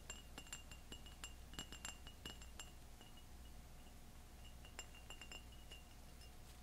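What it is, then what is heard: Ribbed glass tumbler. A tall, clear, ribbed glass tumbler, empty and hollow, is held in both hands and tapped and rubbed with long fingernails and fingertips. It gives quick, bright clinks with a high ring near 2.9 kHz over a steady low hum. The taps come thick in the first few seconds, then grow sparser and quieter.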